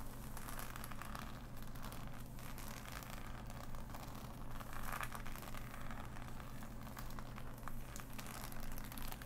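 Long nails scratch and pick at the glossy pieces of a large, flat, assembled cardboard jigsaw puzzle. Dense, dry crinkling and scraping ticks run throughout over a steady low hum.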